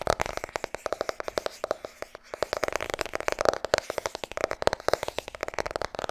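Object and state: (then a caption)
Paperback book. Long red nails rapidly tap and scratch the front cover of a medium-size white paperback book, "Vertrouw me, ik ben verkoper," held solid in both hands. Dozens of quick, dry, papery taps with a mid-range ring come in a fast, steady stream, with faint scratchy friction between them.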